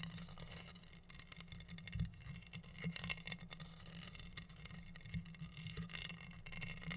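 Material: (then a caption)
Acrylic rhinestones. Long nails scratch and tap across pink acrylic rhinestones covering a flat, solid wooden heart board. The result is a quiet, continuous patter of bright clicks and scratchy rustles over a low hum, with short taps that die away almost instantly.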